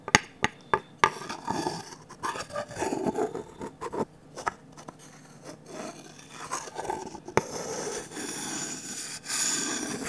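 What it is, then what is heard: Varnished wooden ladle. A wooden stick scrapes and rubs along the empty bowl of a medium, glossy orange, varnished wooden ladle. A few sharp ticks at the start give way to slow, uneven scraping and rasping strokes with a dry, mid-pitched texture. The rubbing turns steadier and brighter near the end.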